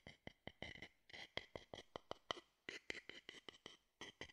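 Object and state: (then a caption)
Wooden bowl tapped with a stick. A hollow, empty wooden bowl, held at the side of the mic, is tapped and scraped with a wooden stick in a quick, uneven series of short, dry knocks and brief scraping strokes. Each hit has a bright, hollow tone peaking near 3 kHz, with little low end, and dies away almost instantly.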